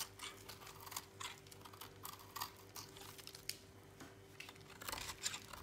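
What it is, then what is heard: Dry soap bar being shaved. A thinning piece of dry, solid teal soap held in a hand is shaved with a utility knife blade. Quiet, dry scraping and crisp crackling strokes come in short, bright bursts over a faint steady hum, with no ring after each cut.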